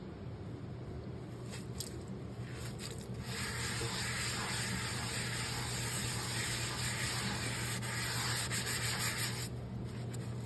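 A hand scrubs the soapy surface of a large round black cast iron skillet with a loop handle, lying empty in a stainless sink, using a yellow scrubbing sponge in circular rubbing strokes. A continuous, gritty scraping hiss builds and grows louder after the first few seconds, over a steady low hum.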